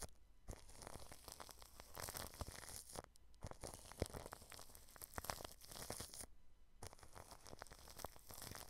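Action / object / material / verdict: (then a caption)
scrape / plastic cling film stretched over a microphone / plastic film / none. The bristles of an orange-handled paintbrush brush across clear cling film stretched over a round microphone and its mesh grille. The result is a continuous crinkling, tearing-like rub with dense, bright crackles, broken by a few short pauses.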